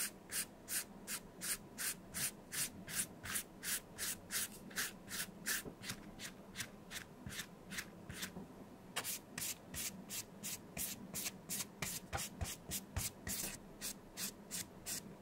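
A flat dye brush is rubbed back and forth across a small, closed, light blue embossed leather bifold wallet, a vintage Gucci Sima, held in gloved hands. About 37 short, bright, scratchy brush strokes are heard at a steady pace, with a brief pause just before nine seconds. A faint low hum sits underneath.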